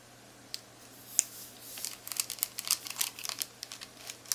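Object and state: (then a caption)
Plastic calculator keys tapped. Long-nailed fingertips press and tap the plastic keys of a black plastic graphing calculator. The result is a quick, irregular run of sharp, bright, dry clicks, sparse at first and then bunched together, each one dying away almost at once. It is quiet, with no low end beneath the clicks.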